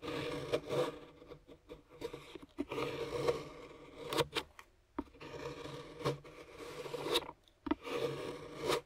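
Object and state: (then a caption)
Dark chocolate bar being scraped. A large knife blade is scraped across a flat, solid dark chocolate bar resting on a wooden board, shaving off curls. Several raspy, bright scraping strokes rise and fade, broken by sharp clicks where the blade catches the chocolate.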